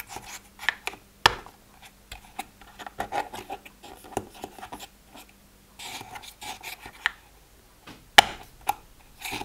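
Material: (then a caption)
Plastic. Fingertips and short nails flip open and tap the hinged lids of strips of small, hollow, empty translucent pastel plastic pill compartments. The result is a scattered series of light, dry clicks and taps with soft scraping in between. Each click is bright and stops almost at once, and a few sharper snaps stand out.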